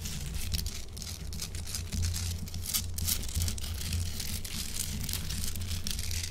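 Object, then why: Block of Himalayan rock salt. Long acrylic nails on both hands tap and scratch a large, solid pink Himalayan salt chunk. A fast, dense stream of bright, crackling clicks and scrapes sits over a steady low hum, with brief louder bursts throughout.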